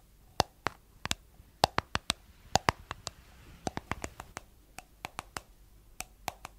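Long nails tap the white plastic lid and rim of a palm-sized, hollow, round cosmetic jar with a blue body, held in both hands. About 24 sharp, dry clicks come in an irregular rhythm, each with a hollow tone near 770 Hz and a bright top that dies away almost instantly over a quiet background.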